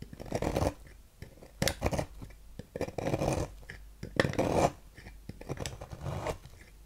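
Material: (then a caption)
Soap. A thin metal knife scrapes and carves flakes from the end of a solid, palm-sized, light-blue bar of soap embossed "Fax" that is held in the hand. Dry, crisp scraping strokes come in irregular bursts with brief quiet gaps between them, each carve ending quickly with no ring.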